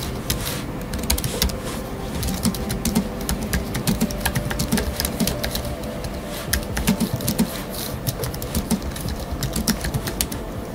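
Rapid typing with the fingertips of both hands on a space grey Apple Magic Keyboard 2 with numeric keypad, a thin aluminium body with black plastic scissor-switch keys resting on a wooden desk. A steady stream of short, soft, dull key taps with brief bright clicks, low thumps and a faint low hum, lasting about eleven seconds.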